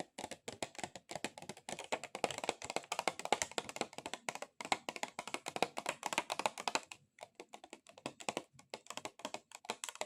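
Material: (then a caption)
Plastic. A plastic object is tapped rapidly with extra-long acrylic nails, producing dense, fast, clicky taps that sound much like typing on a keyboard. The clicks are short and dry, with a midrange body and bright edges. Brief pauses break the flurries near 1.7, 4.6 and 7 seconds before the tapping resumes.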